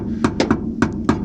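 A hammer taps five times on a fiberglass section of a car trunk subwoofer wall that had only just had layers added that day. Each tap is a short, dull knock pitched around 250 Hz that dies away almost at once. The panel sounds solid and came up pretty good.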